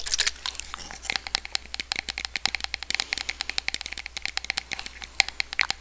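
Long red nails tap along a small, clear, hollow plastic spray bottle with a white pump nozzle that is partly filled. A quick, uneven run of about 38 sharp, dry clicks sounds bright and crinkly, centered near 2.2 kHz, with no ring after each tap. A faint, steady low hum sits underneath.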